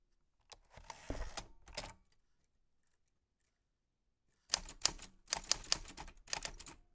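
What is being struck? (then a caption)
Metal manual typewriter. A black 1940s Smith-Corona portable typewriter with a metal body, round keys and paper loaded is typed on by white-gloved fingertips. Bright key clicks and sharp typebar strikes come in a short burst, then a silent pause of about two seconds, then a denser run of crisp strikes.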